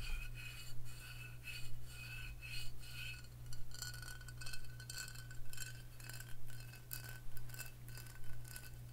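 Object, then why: Faceted glass liquor bottle. A Crown Royal faceted glass whisky bottle filled with amber liquid is tapped and scratched with long fingernails. Short glassy clicks and scrapes with faint ringing tones come in a fairly steady rhythm, about one a second, over a constant low hum.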